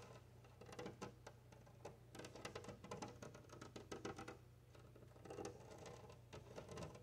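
Long nails tap and scratch across a large flat glass window pane set in a wooden frame, and fingertips press flat against the glass. Rapid, light, bright clicks and scrapes come in uneven bursts over a steady low hum.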